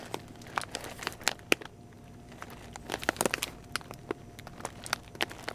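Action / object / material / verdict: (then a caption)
scrape / glossy plastic kibble bag / plastic / none. A small yellow Pedigree puppy food bag of glossy plastic, 3.5 lb and full of kibble, is held in both hands and squeezed with fingertips and nails. It gives irregular bursts of sharp, bright plastic crinkles and crackles, with a quieter lull in the middle before the crinkling picks up again.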